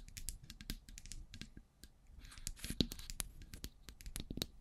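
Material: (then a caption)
Metal. Long grey pointed nails tap and scratch the sides of two identical silver metal cylindrical microphones. The result is a rapid, irregular run of short, dry clicks with bright, crisp tops and brief scratchy rasps, each dying away almost instantly over a soft low rumble.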